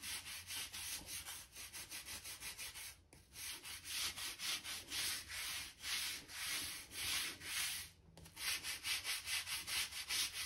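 A hand-held stiff-bristle gap brush scrapes along a seam between planks of a solid oak floor, brushing out dirt and dust. Quick, repeated strokes produce a bright, dry, scratchy hiss with little low end, pausing briefly twice before resuming.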